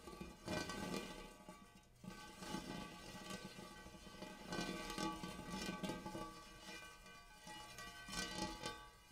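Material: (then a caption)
Metal. Fingertips rub and tap the dimpled inner surface of a large, empty, hammered brass-colored metal bowl. Irregular soft taps and scratchy rubbing are heard over a steady metallic ring with a bright tone around 1.5 kHz, with each tap swelling the shimmer briefly before it fades.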